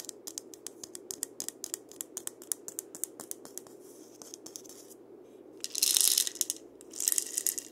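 A painted dried-gourd maraca, a single hollow gourd held by its wooden handle, is turned while fingers tap and scratch its shell. Quick, dry, bright ticks come in a loose, irregular run for about five seconds. Near the end, two louder hissing bursts of seed rattle follow.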